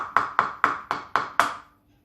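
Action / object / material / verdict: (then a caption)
tap / raw egg shell tapped on a bowl / eggshell / cracked. A raw egg is tapped against a bowl to crack its shell before it is opened with the thumbs like a book. Six short, evenly spaced taps are heard, each a bright click centred around 1.2 kHz that fades quickly.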